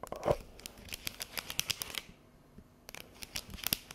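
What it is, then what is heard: Thin plastic tray tapped and scratched with nails. Long yellow nails tap and scratch across the chevron ridges of a thin, hollow, empty clear plastic chocolate tray held upright in the hand. A rapid series of sharp, bright clicks and crinkly scratches sounds with almost no ring, then pauses briefly before another burst of taps.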